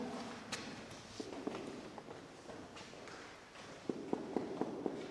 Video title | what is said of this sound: Eglise Sainte Quitterie de Massels 47 | ça sonne creux par qu'il y a l'humidité qui est revenu derrière